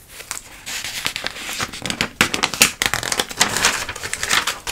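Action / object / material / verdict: scrape / glossy paper catalog pages / glossy paper / none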